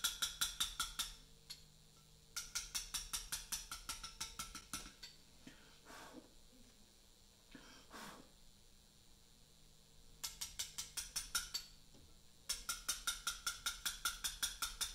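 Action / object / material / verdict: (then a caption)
strike / mallet striking a steel chisel on a limestone block / limestone / none. A small round mallet strikes a chisel held on a large, solid Portland limestone memorial block during letter cutting. Four bursts of quick, bright, sharp taps, about forty in all, ring only briefly. Quieter breathy swells and faint low hum fill the pauses between bursts.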